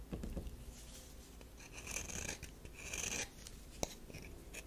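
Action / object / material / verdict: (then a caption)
scrape / solid bar of soap / soap / none. Long nails scratch a solid tan DURU bar soap, then a metal knife blade is brought to its edge. Soft, dry rasping and scraping swell in bright bursts over a low background, ending with a single sharp click near the end.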